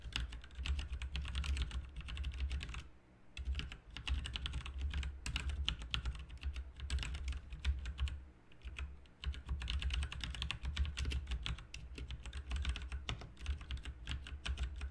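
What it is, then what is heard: Plastic mechanical keyboard. Both hands type with their fingertips on a backlit plastic RGB mechanical keyboard with plastic keycaps. Rapid, bright clacking keystrokes run over a steady low hum, with brief pauses near 3 and 8.5 seconds before the typing resumes.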